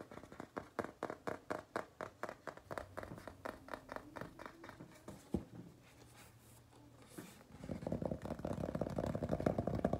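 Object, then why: Paper-covered cardboard notebook cover. Fingertips and nails tap and scratch the solid, flat cover of a large hardcover notebook or sketchbook, its cardboard cover wrapped in printed paper, pink with flowers on one side and an owl on the other. Steady, dull taps come about four per second, then a single sharp tap and a quiet stretch of soft scratching. The clip ends in a denser, louder flurry of rapid tapping and scratching.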